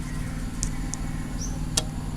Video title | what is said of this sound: Ukuran diameter serving string busur dan ukuran lubang nock anak panah. | ada bunyinya teng. Jadi knock yang bagus itu seperti itulah kurang lebih, dia ada bunyi.